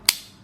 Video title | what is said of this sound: CRKT Squid Review - Perfect Knife To Loan To Friends | it locks up really solid